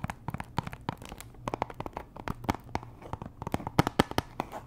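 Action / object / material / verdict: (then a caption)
tap / cellophane-wrapped cardboard box / cardboard / none. Long nails tap and scratch the faces and edges of a small, hollow pink Chanel perfume box made of cardboard, likely still in its plastic wrap. A rapid string of short, crisp clicks rises over soft crinkly scratching, each tap dying away almost instantly.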